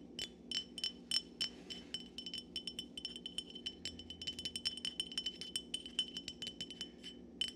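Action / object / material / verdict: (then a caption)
tap / glass wine bottle / glass / none. A hollow, dark glass Syrah wine bottle, held in both hands above a pile of corks on a wooden table, is tapped over and over with fingertips and nails. The result is a quick, uneven run of bright, high glassy clinks and ticks. Each tap dies away almost instantly over a faint, steady low background.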